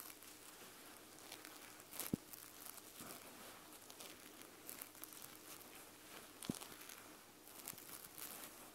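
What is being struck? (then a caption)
Plush fabric back of an eye mask. Long nails on both hands scratch the white plush fabric back of an eye mask. A soft, steady, crinkly scratching rustle fills the clip, with brighter hiss on each stroke and a couple of sharper clicks standing out.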